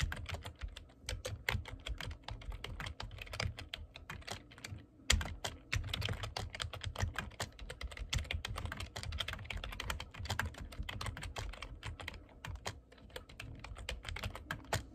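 Fingertips type fast on the keys of a black plastic computer keyboard. A dense run of sharp, bright clicks rides over soft low thumps, with a brief pause around five seconds before the typing resumes just as quickly.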